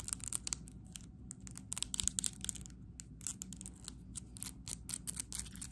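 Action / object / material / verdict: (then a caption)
tap / small plastic jar with screw lid / plastic / none. Long acrylic nails rapidly tap and scratch a small neon plastic paint jar with a plastic screw lid, held close. The sound is a fast, uneven run of dry, bright clicks and scratchy rasps that stop instantly, over a faint low rumble.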